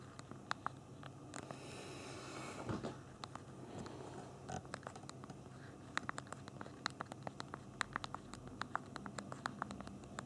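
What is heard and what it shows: Thumbs tap the small plastic keys of a handheld BlackBerry phone's physical keyboard while typing, producing sharp, dry, bright clicks with no ring. The taps start sparse, pause under a soft rustling swell around the third second, then quicken into a steady run of crisp clicks over a faint low hum.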